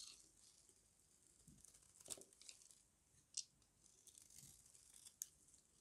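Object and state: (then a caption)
Dry soap bar being carved. A small metal blade with a yellow handle shaves and carves a solid oval bar of dry white soap held in one hand. Quiet, bright crunchy scraping cuts sound over a soft hiss, with a few sharper crisp snaps standing out near 2, 3.4 and 5.2 seconds.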